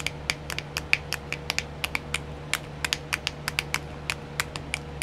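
Long nails tap and scratch on a small, round, clear plastic nail art wheel with filled compartments. About 25 quick, bright clicks ring out over a faint, steady low hum, each dying away almost at once.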